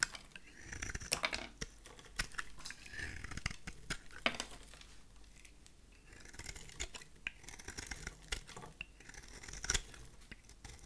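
A solid oval bar of dry vintage white soap, held in the hand, is shaved with a utility knife blade, scraping off crisp flaky curls. The clip is a run of short, dry, bright cutting and scraping strokes, each ending abruptly with almost no ring. Quieter rasping fills the gaps between the sharper strokes.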